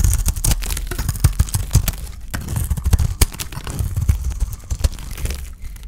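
A solid white bar of dry soap painted with blue glitter is held in the hand and shaved and scraped with a utility knife blade. The clip is a dense run of quick, crisp scraping and crackling strokes with dull low thumps under them, each cut dying away almost instantly.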